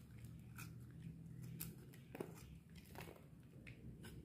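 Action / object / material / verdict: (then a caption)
scrape / bar of soap scraped with a metal blade / soap / none. A metal utility knife blade shaves and scrapes a solid white bar of dry soap held in the palm, letting curls of soap fall onto the table. The sound is quiet: soft, dry scraping strokes with brief bright, crisp edges over a low, steady rumble.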